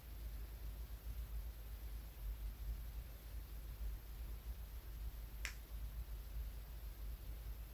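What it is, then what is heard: Polished stone pebble. A small, solid, smooth polished brown pebble is held in the hand and tapped with fingertips and nails, a ring on one finger. A single sharp, bright click sounds about two-thirds of the way through over a steady low rumble and quiet hiss, dying away almost at once.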